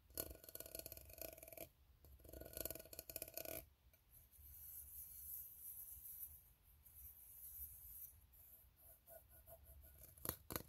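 A fingernail scratches across the ribs of an empty, open, ribbed steel tin can, making two bursts of rapid, buzzy rasping with a hollow metallic ring. A quieter, hissy stretch of light scraping follows, then soft taps on the side of the hollow can, ending with a sharper knock.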